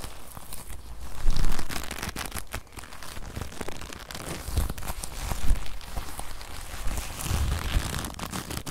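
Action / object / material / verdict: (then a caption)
scrape / leather jacket sleeve / leather / none. The sleeve of a brown leather jacket is held in the hand, then stretched and crumpled between both hands with long nails close to the microphone. It makes soft, continuous creaking and crinkling with brief scratchy crackles over a dull low rumble, swelling louder around the first and middle seconds.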